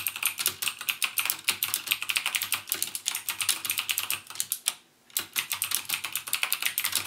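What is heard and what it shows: Fingertips type rapidly on a backlit mechanical keyboard with plastic keycaps and Cherry MX Blue switches, producing a steady stream of sharp, bright clicks. The typing pauses briefly just before the five-second mark, then resumes at the same quick pace.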